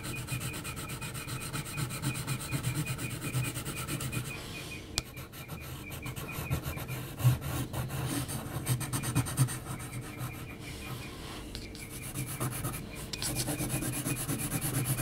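An HB graphite pencil is scratched across a large flat sheet of heavy textured mixed-media paper in hatching strokes. A steady, dry, raspy scratching runs throughout, with a short lull before a sharp tick near five seconds and a few louder strokes partway through.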